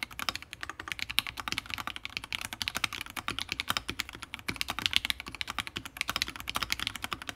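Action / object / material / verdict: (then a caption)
tap / mechanical keyboard, plastic keycaps on a brass plate / plastic, brass / none. Both hands type rapidly with their fingertips on a Fusion60 60% mechanical keyboard built with FFFF switches, a brass plate and plastic keycaps. The result is a fast, steady stream of short, bright clacks with very little low end, each key strike dying away almost instantly.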